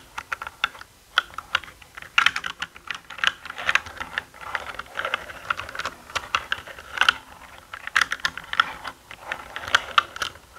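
Fingertips press and type on the plastic keycaps of a black mechanical gaming keyboard, giving a steady run of quick, sharp clacks in uneven bursts. Each click is short and dry, with bright, papery tops and a midrange tone around 1.4 kHz. There is no low-end thump beneath the clicks.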